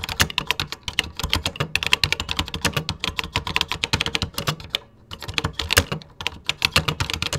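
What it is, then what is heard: Plastic computer keyboard being typed on. Fingertips type continuously on a vintage 1980s beige plastic computer keyboard. The result is a rapid, dense stream of sharp, bright key clicks with very short decay and a soft low thump under each stroke, broken by a brief pause around the five-second mark.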